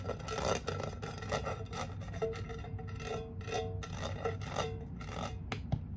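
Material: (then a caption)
Tin. Long painted nails rapidly tap and scratch the silver metal lid of a small cylindrical tin candle with a red paper label, filled with wax. A fast, raspy scraping texture is punctuated by quick bright clicks and a faint metallic ring. A steady low hum runs underneath throughout.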